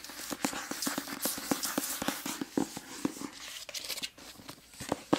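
Long nails scratch and tap the glossy paper dust jacket of a solid, medium-sized hardcover copy of "The Sacred Lies of Minnow Bly" held upright. About 15 quick, dry clicks with a faint hollow tone ring out over a steady papery scratching hiss, each tap dying away almost instantly.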